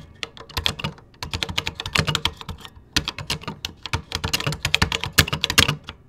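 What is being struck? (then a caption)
Plastic computer keyboard. Fingertips type rapidly across the beige plastic keys of a 1986 Tandy Color Computer 2 keyboard, with a microphone nearby that is never touched. Dense bursts of short, crisp, bright key clicks, each with a soft low thud, come in quick runs broken by brief pauses near the one- and three-second marks. Every click dies away almost instantly.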